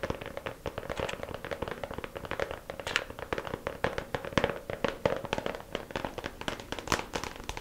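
Long pink acrylic nails tap quickly on the lid of a small, hollow, clear plastic compartment organizer case filled with press-on nails and lying flat. It makes a fast, steady stream of light, dry clicks with a faint hollow ring around 560 Hz. Each tap dies away almost at once.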